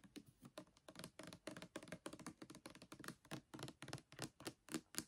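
A translucent plastic pump bottle of Palmolive Naturals almond hand soap, full of liquid, is held in the hand and tapped quickly with the fingernails along the body and the pump. The result is a rapid, uneven run of short, dry plastic clicks and soft thunks with almost no ring, mostly low-mid with some bright edges.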